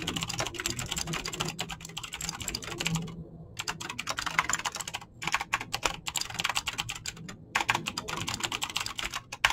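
Fingertips fast-type on a mechanical keyboard with clicky green switches and PBT plastic keycaps, producing a dense, bright stream of sharp clicks. Short pauses break the typing near the middle and later in the clip.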